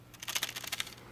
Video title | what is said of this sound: Guess Who's Back!?! Ft. My new Camera (Lumix G7) | if you shake them and like in the video the in body microphone is going to pick that up